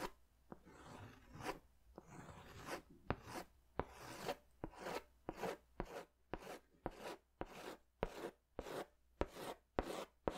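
A pink pastel crayon is rubbed and scratched over a colored swirl on a large white paper sketch pad. Rhythmic, dry, raspy strokes with brief sharp ticks repeat steadily and quietly.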